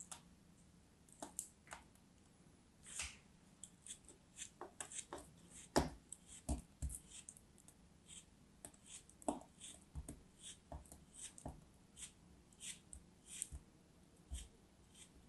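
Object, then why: Kinetic sand turtle mold cut with a knife blade. A dark knife blade cuts and scrapes slices off a small, solid orange kinetic sand turtle shape held in the hand. Short, crisp, gritty crunches and scrapes come at irregular intervals with quiet pauses between them, each with a bright, sandy hiss and almost no ring.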